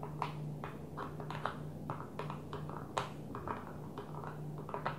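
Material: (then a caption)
Plastic. Long nails on both hands tap rapidly on a flat blue plastic container lid resting on a table. The result is a quick, irregular stream of short, light clicks with bright attacks that die away almost at once, over a steady low hum.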